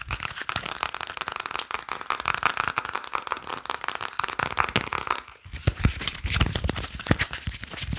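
A small deck of paper and cardboard playing cards is fanned and shuffled between the fingers while fingertips and nails tap and flick the card edges. The result is a dense stream of quick, crisp crinkling and riffling clicks. Around the midpoint this gives way to sharper, punchier taps with more low thump.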